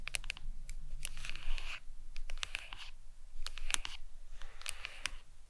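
Long nails tap and scratch the back of a smartphone in a glossy leopard-print hard plastic case resting on a towel. Quick, bright clicks mix with scratchy rasps over a steady low hum, in uneven bursts with short pauses.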